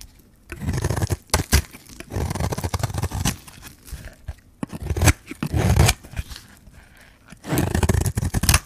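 A metal blade scrapes and shaves the face of a solid white bar of dry soap with a pink rim, held in the hand. Dull, crunchy scraping strokes come in bursts with short quiet gaps between them, each sounding mostly low and dry with a faint gritty top.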